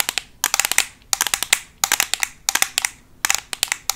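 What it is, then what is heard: Plastic eyeshadow palette. A black Makeup Revolution plastic eyeshadow palette, a flat closed case held in both hands, is tapped and scratched fast with metal paperclips fitted on long acrylic nails. Quick bursts of sharp, bright, dry clicks come in five clusters with brief pauses between. Each tap dies almost instantly, with no low end and a crisp, high, crackly edge.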